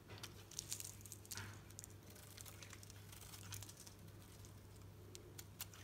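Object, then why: Bar of soap shaved with a knife blade. A solid green Dalan soap bar held in the palm is shaved with a knife blade, giving quiet, dry crinkling and crunchy scraping bursts with bright, crisp edges. A steady low hum runs underneath throughout.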